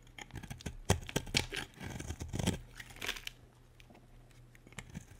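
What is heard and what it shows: A solid pale pink bar of soap is held in the hand and scraped with a utility knife blade, and chunky flakes break off. Irregular bursts of crisp, crumbly scraping and crunching give way to quieter, sparser scrapes after about three seconds, over a steady low hum.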